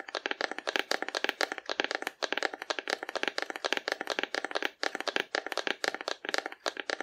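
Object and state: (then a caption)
Hollow cardboard dinosaur figure. A hollow painted cardboard dinosaur figure, held horizontally, is tapped rapidly with long nails. The result is a steady stream of quick, dry, papery clicks with a hollow midrange tone and bright edges, each dying away almost instantly with no low end.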